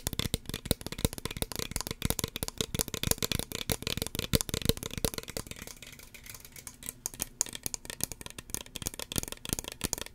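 Long fingernails tap rapidly along the body and white pump cap of a small, hollow red plastic spray bottle. The dense, dry clicks sound hollow and plasticky, with bright highs and a fuller low end. The taps ease and thin out for a moment near the middle before picking up again.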